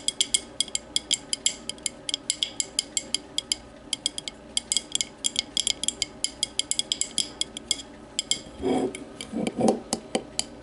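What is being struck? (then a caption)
Glass tumbler. Long matte nails tap rapidly on the rim and wall of a small, empty, clear glass whiskey tumbler lying on its side. About fifty bright, clicky ticks with very short ring follow in quick succession. Near the end, a few duller, lower bursts of rubbing are heard.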